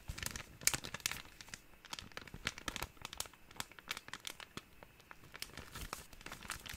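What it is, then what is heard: Thin plastic bag crinkled. A small, empty, thin clear plastic bag is crinkled and squeezed between the fingertips. The result is a dense run of quick, bright crackles and crinkling snaps with very little low end. Each snap dies away almost instantly under a faint, steady hiss.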